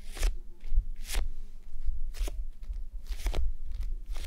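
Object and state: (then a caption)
Plastic gel bead eye mask. Long nails scratch and tap the sides and top of a red plastic gel bead eye mask resting on a mannequin head. Brief crunchy, bright scratching bursts rise at intervals over a steady low rumble, each ending quickly with no ring.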